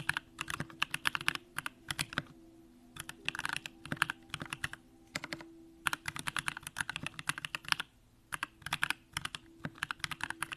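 A compact Bakeneko65 mechanical keyboard with an aluminum case, Durock lavender switches and pink plastic keycaps is typed on continuously with the fingertips of both hands. Quick, crisp keystrokes with a bright click come in rapid bursts separated by brief pauses, each dying away almost instantly over a faint steady low hum.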